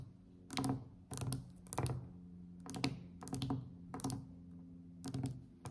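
Both hands tap quickly with long, decorated acrylic nails on a glossy varnished solid wooden tabletop. The taps come in short, irregular clusters of quick, dull knocks that die away almost at once, with most of the sound in the low range and a faint steady low hum underneath.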